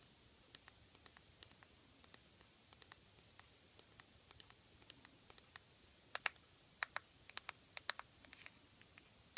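Long fingernails tap on the black plastic lid and sides of a small, partly filled clear plastic jar of loose face powder held in the hand. Dozens of quiet, sharp, bright clicks come in an irregular stream, each dying away almost instantly over a faint hiss.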